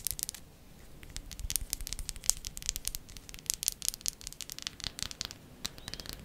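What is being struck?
Bar of soap.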